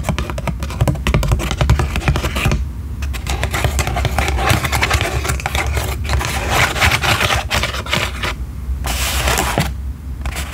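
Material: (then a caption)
Paper. Long nails scratch and rub the thin paper canopy of a small paper cocktail umbrella on a wooden stick, held open close to the microphone. Dense, rapid, crackly scratching and rustling fills the clip, broken by brief pauses, over a steady low hum.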